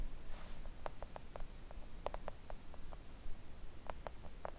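Long acrylic nails gently tap a flat pink silicone nail art mat printed with nail shapes, lying on a table. The result is a scattered series of soft, short, muted clicks over a quiet low hum.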